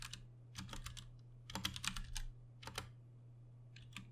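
Both hands type with their fingertips on a Ducky One 2 Mini, a compact 60% RGB-backlit mechanical keyboard with plastic keycaps and Cherry MX Brown switches, resting on a desk. Quick runs of bright, sharp plastic clacks come in clusters separated by short pauses, over a steady low hum.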